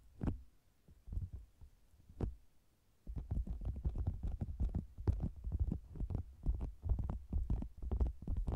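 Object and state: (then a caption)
Faux leather cosmetics bag. Fingers with long green nails hold the sides of a round, soft, hollow red and zebra-print faux leather cosmetics bag with a microphone inside, tapping and scratching it. A few sparse, muffled low thumps open the clip, then after about three seconds the tapping turns into a quick, uneven run of deep, dull thuds that lasts to the end.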